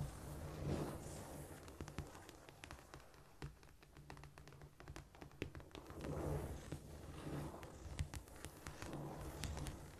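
Long pointed nails tap and scratch across a flat, solid cork floor, giving many short, dry clicks over a soft scraping rustle. The clicks come quick and unevenly, with almost no ring, above a steady low hum and a few louder swells of scraping.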